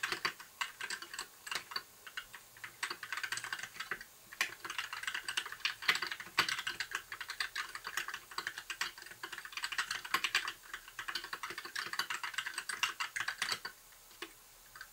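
Fingertips of both hands type continuously on a compact white mechanical keyboard with plastic keycaps, blue backlight and a hollow case. Rapid, irregular bursts of bright, clacky key taps come in quick runs with brief pauses. Each tap is short and dry, with almost no low-end thump.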